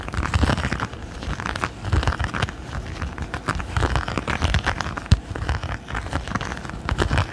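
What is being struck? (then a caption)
Textured silicone pot holder. Fingertips and nails scratch and tap across a palm-sized, thin, flexible red silicone pot holder with a raised bumpy texture, held in both hands close to the microphone. A steady run of soft, dense crackling scratches fills the clip, dotted with short low thumps and one sharper tap near the five-second mark.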